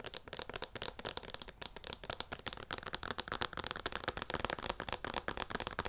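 A hand-sized, hollow white plastic Skin Repair lotion pump bottle is tapped and scratched with long nails close to the mic. The result is a rapid, steady run of dry, crisp clicks and scratchy rasps, bright and thin with little low end, each tap dying almost instantly.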